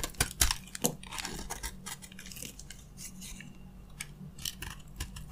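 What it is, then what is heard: Dry soap bar shaved with a blade. A utility knife blade, held by a hand with long red nails, shaves crunchy flakes from a solid, hand-sized bar of dry yellow soap. Sharp, bright crunching scrapes and clicks come at an irregular pace, the loudest in the first second, then softer rasping continues over a steady low hum.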